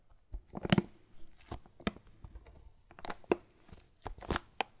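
A Lavazza foil coffee bean bag is held in the hand while the fingers crinkle the foil. Soft, irregular crackles and rustles come in short, sharp bursts, some bright and crisp, with quiet gaps between them.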